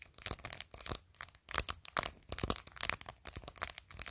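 Long pointed nails tap and scratch the top edge and face of a clear glitter plastic phone case covered in glued acrylic press-on nails. The result is a quiet, dense run of sharp, bright clicks and crinkly scrapes with almost no ring, coming in uneven bursts and short pauses.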